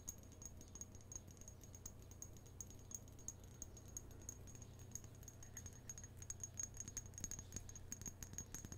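A small clear glass bottle or vase holding a pink artificial rose, held in both hands, is tapped and scratched with long nails on the glass. The result is a steady stream of quick, light clicking taps with a thin, bright glassy ring, over a constant low hum, and the taps grow denser and louder toward the end.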